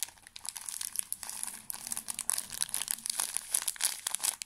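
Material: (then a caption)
Plastic film. A small, full pocket tissue pack in thin plastic film is squeezed and crinkled with the fingertips close to the microphone. The result is a dense run of bright, crisp crackles and crinkles with almost no low end, each snap dying away instantly, building to sharper bursts toward the end.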